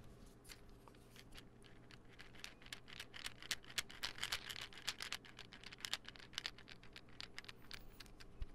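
A small, hollow white plastic pill bottle with a gold label and white cap is held in one hand and tapped with fingertips and nails. Quick, dry, bright clicks patter at an irregular pace, with short taps that die away almost at once. Many separate taps run over a low, steady hum.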